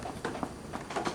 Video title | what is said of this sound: CSPM Preoperative Physical Examination Part 2 | if I percuss over his scapula, you hear a very dull sound